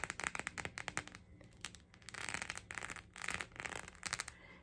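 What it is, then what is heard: Silicone phone case, tapped and scratched. Long nails tap and scratch a pink rubbery silicone phone case with raised heart bumps, with the phone inside and the case held up. About two dozen quick, bright clicking taps come in clusters, broken by stretches of dry, scratchy rubbing across the bumpy surface. The sound is crisp and high-pitched with very little low end.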